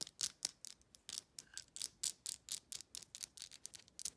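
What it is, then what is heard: Small glass bottle with ridged plastic lid, nail tapping and scratching. Long nails quickly tap a small amber glass supplement bottle and scratch its ridged black plastic lid. About twenty crisp, bright clicks and short scratchy bursts come in a quiet, uneven run. Each sound is dry with almost no ring and no low end.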